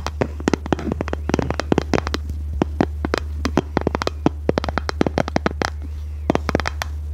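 Long red nails tap and scratch a small, hollow, rectangular pink plastic case in a rapid, irregular run of dozens of short, dry clicks. The clicks are crisp and bright and die away instantly, over a steady low hum.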